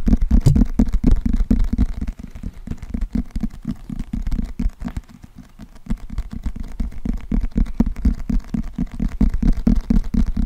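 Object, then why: Thick paperback book with glossy cardboard cover. Fingernails tap and scratch the glossy cardboard cover of a closed, thick, solid paperback book held in both hands near the microphone. The result is a fast, uneven run of short, muffled, low thumps with a soft scratchy texture, softening in the middle before picking back up toward the end.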